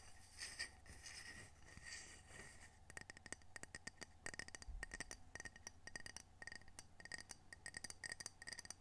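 A small, solid, square glazed ceramic coaster with a whale print is held in both hands and tapped with long fingernails on its glossy face. For the first three seconds there is softer, scratchy handling, then a steady run of quick, sharp clicks with a bright glassy tone near 1.9 kHz that dies away almost instantly.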